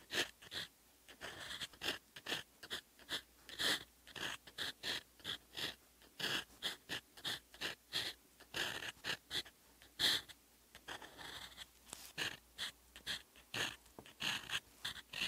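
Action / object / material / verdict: scrape / steel fountain pen nib on notebook paper / paper / none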